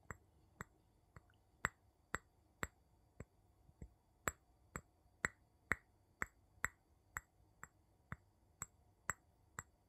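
The tip of a wooden scoop handle taps the bottom and side of a small, empty, clear glass jar with a metal lid, held upside down. About twenty quiet, sharp clinks with a bright ping near 2 kHz come at a steady pace of roughly two per second, each dying away almost at once.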